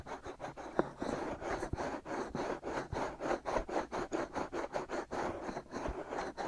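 Short fingernails scratch over the outer surfaces of the hand-sized, soft white silicone rubber ears of a binaural microphone. The result is a quiet, rhythmic series of 18 rasping strokes, each a dry, broadband scratch centred in the low-mid range with little bright content.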